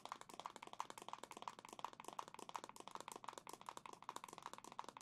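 A black plastic Switch console back, held in both hands, is tapped rapidly with long nails. It makes a quick, steady run of sharp, dry clicks with a faint ringing tone near 950 Hz. Each tap dies away almost at once.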